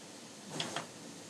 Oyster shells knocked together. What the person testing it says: quand ça sonne creux, donc éventuellement, elle peut être légèrement ébréchée